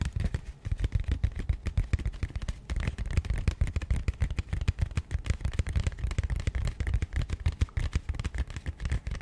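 Fingernails of one hand tap and scratch the flat face of a small matte grey cardboard box held beside the mic. The result is a fast, irregular stream of short, dull, low thuds with very little ring, mixed with faint dry scratching.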